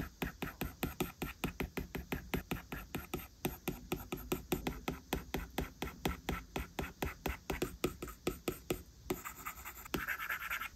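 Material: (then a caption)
Glass. A plastic Apple Pencil stylus drags and taps quick drawing strokes across the large flat glass touchscreen of an iPad lying on a desk, while the other hand's fingertips rest on the screen. A rapid, steady run of short, dry tapping scratches repeats throughout, and the pace loosens into softer, brighter scraping near the end.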